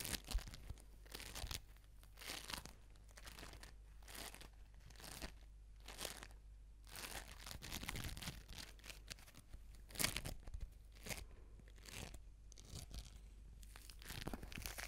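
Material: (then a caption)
Foam beads. An orange foam bead ball is squeezed and scratched with fingertips and nails, then held up in one hand, recorded on a Razer Seiren X microphone. Bursts of crisp, crunchy crackling and tearing-like scratches come in uneven waves, with the loudest bursts near the start and around ten seconds, over a steady low hum.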